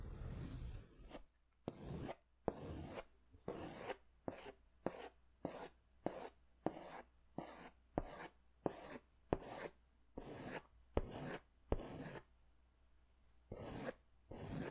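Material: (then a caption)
Paper. A green pastel crayon held in the fingers scratches strokes across a large white paper sketch pad held upright, a solid flat sheet. Seventeen short, dry, rasping strokes follow one another with brief silences between them, each a soft papery scrape that stops almost instantly.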